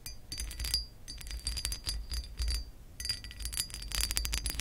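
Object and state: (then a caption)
Textured glass lamp base scratched with nails. Long acrylic nails on both hands scratch along the raised ridges of a hollow pressed-glass lamp base, making rapid bright clicks and scrapes. A faint high glassy ring rises and fades over a steady low rumble.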